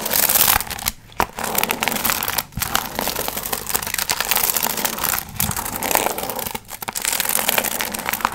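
Long nails scratch and crinkle the gold foil fringe on a medium, hollow paper pumpkin piñata. Dense, bright crinkling and scratching runs almost continuously, with brief quiet gaps between strokes.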